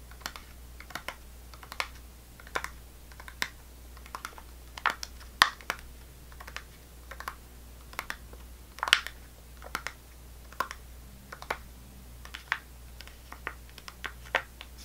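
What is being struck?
Sealed plastic fruit cup with plastic film lid.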